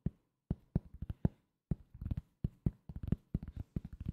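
A thin, solid round cork coaster, held below the mic, is tapped with the fingertips. It gives an uneven run of soft, dull, low thuds in quick clusters, each dying out almost at once with no ring.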